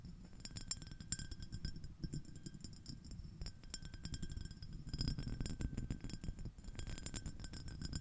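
Long acrylic nails on both hands rapidly tap and scratch a small, clear, iridescent, scallop-shell-shaped shallow glass dish, held empty in front of the mic. The result is a dense, continuous stream of quick, dry clicks and bright glassy clinks that die away almost at once. Beneath them sits a soft low rumble, and the stream swells and thins slightly throughout.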